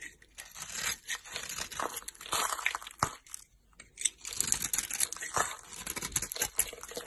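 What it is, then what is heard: Bar soap being shaved. A solid bar of soap with a green glitter coating and a pink interior is held in the hand and shaved with a utility knife blade. Crisp, bright scraping and crumbly cutting sounds come in rapid bursts with almost no low end, with a brief quiet pause midway before the shaving resumes.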